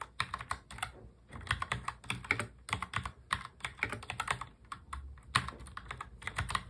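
Both hands type continuously on a full-size black mechanical keyboard with black plastic keycaps, fingertips tapping the keys. Rapid, bright clacking keystrokes come in dense bursts with brief pauses, each click short and dry with a soft low thud underneath.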